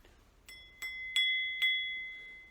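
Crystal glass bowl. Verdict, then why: Real. A fine, heavy 1970s crystal bowl from a patterned set, thought to be Dartington, is struck four times. Each tap gives a bright, clear bell-like ring near 2 kHz with a higher overtone that lingers between strikes. The beautiful, sustained ring marks it as real crystal.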